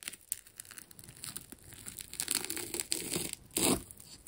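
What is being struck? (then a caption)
Ball of wound plastic tape. The metal tip of a scalpel cuts into a hand-held, fist-sized solid ball wound from layered blue plastic tape, tearing through the layers. Dry, bright tearing and crinkling crackles come in uneven short bursts. The loudest rip comes near the end.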